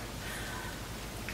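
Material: Nothing is struck.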